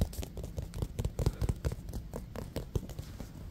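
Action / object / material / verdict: scrape / synthetic leather baseball / synthetic leather / none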